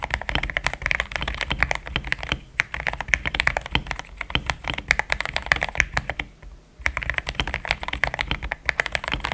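Fingertips of both hands type steadily on a compact pink-and-cream plastic mechanical keyboard with thick XDA-profile keycaps, Gateron Yellow switches and a polycarbonate plate, sitting on a desk mat. A dense, even stream of short, crisp keystrokes clicks with a bright tone centred around 2 kHz and a soft low thud beneath. There is a brief pause about two-thirds of the way through before the typing resumes.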